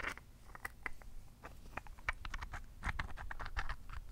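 A large, solid, rough pale-pink rose quartz chunk, held in both hands, is tapped and pattered with long painted fingernails. The result is a quick, irregular patter of short, dry, clicky taps with a bright tone around 1.8 kHz that stop dead with no ring, over a faint low rumble.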